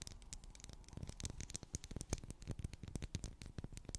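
A medium pink solid wax pillar candle with twisted ridges is tapped and scratched with long black acrylic nails. Dense, quick clicks and soft scraping patter over a low, muffled rumble, with bright ticks on top.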